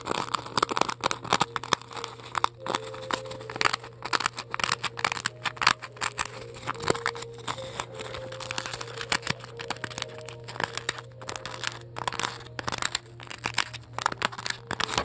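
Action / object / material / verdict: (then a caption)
scrape / polystyrene foam ball scratched with long nails / polystyrene foam / none. Long acrylic nails decorated with pearls scratch and press into a large, solid, white polystyrene foam ball that is held in the hand and has a hollow dug into it. Dense, loud, crisp crunching and crackling carries on throughout, with short squeaky tones and a steady low hum underneath.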